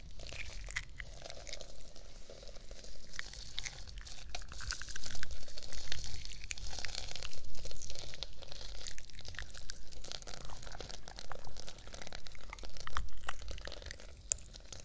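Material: Plastic sequins.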